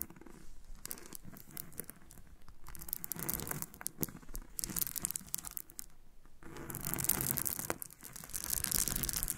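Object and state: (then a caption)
Loose freshwater pearls. Both hands with long painted nails scratch and rub through a pile of small, solid nacre loose freshwater pearls on a pink surface. The result is a dense, bright, crackly rattle of beads clicking and grinding against each other, with quick scratchy bursts that rise and fall in waves and grow loudest toward the end.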